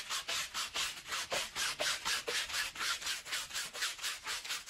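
A long-handled green push broom with stiff bristles scrubs back and forth across a small wet, soapy woven pile rug of wool-type textile lying flat on the floor. About 12 steady scrubbing strokes, roughly two per second, make bright, hissy swishes with almost no low end.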